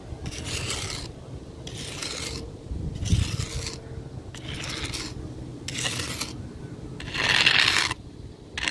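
The pointed end of a weathered wooden stick scratches a ground surface of fine gravel and sand in repeated rasping strokes, each a gritty, bright hiss separated by short pauses. A low rumble runs underneath, and the last full stroke is the loudest and harshest.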